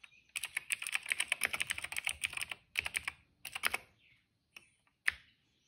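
Fingertips of both hands type steadily on a retro-style cream plastic mechanical keyboard with dark and purple plastic keycaps and a hollow case, resting on a rug. Bright, crisp clacking taps come in a quick, dense run, then thin out into short bursts. It ends with a few isolated keystrokes separated by silence.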